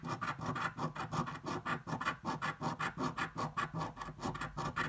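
A flat, thin paper scratch-off lottery ticket lies on a dark table, held with one hand while the edge of a metal half-dollar coin scratches off its latex coating. Rapid, rhythmic rasping strokes repeat back and forth, each a short, dry scrape with some mid-range bite and little ring.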